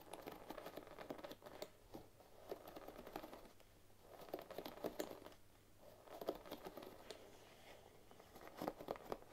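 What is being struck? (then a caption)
Bamboo hairbrush with wooden pins. Fingers with long nails run over and scratch the wooden pins of a bamboo paddle hairbrush. The result is a quiet, rapid patter of dry, bright ticks that swells and fades in bursts.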